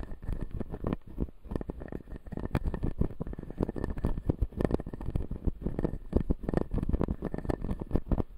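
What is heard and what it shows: Fingernails scratch along the upper teeth of a clear acrylic full-jaw dental model with white resin teeth. The result is a dense, continuous run of quick, dry scratches and clicks that stop instantly with no ring, weighted toward the low end.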